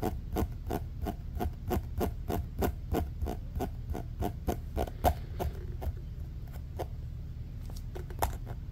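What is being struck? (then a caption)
Ribbed plastic pop tube. A short, compressed orange ribbed plastic pop tube, bent and lying on a fleece blanket, is pressed and flicked with a fingertip. This produces a rapid run of about 24 short, dry clicks with a bright edge and a tonal center near 690 Hz. The clicks come quickly for the first five seconds, then space out over a steady low rumble.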